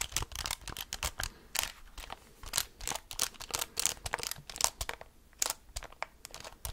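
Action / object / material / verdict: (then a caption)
tap / plastic calculator keys and casing / plastic / none. Fingertips and nails tap and press the rubber keys of a handheld black plastic graphing calculator with a hollow casing. A rapid, irregular stream of short, crisp clicks and taps sounds bright and dry, with little low end, and each click dies away almost instantly.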